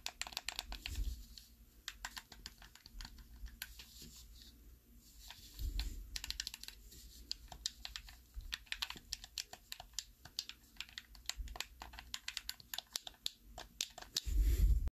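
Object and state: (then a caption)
Plastic game controller. A black, hollow plastic Xbox 360 style handheld controller is held in both hands while the thumbs repeatedly press and click its face buttons and thumbsticks. Rapid, irregular, sharp plastic clicks with bright ticks die away instantly, over soft low handling thumps. A louder burst of clicking and rustle comes at the very end.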